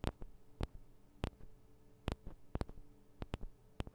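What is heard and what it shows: Long acrylic nails tap and scratch on the sides of a Tascam DR-40 recorder's two small, hollow metal-and-plastic microphone capsules. Twelve sharp, dry clicks ring out at uneven intervals with very short decay. Each click is heavy in the low end, with faint scratching and a steady low hum between them.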